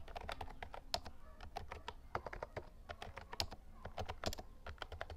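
Fingertips type on the round white keycaps of a compact lilac plastic Actto Retro Pop Mini Bluetooth mechanical keyboard. The result is a fast, steady run of short, crisp clacks with bright tops and a low thocky body. Each keystroke dies away almost instantly.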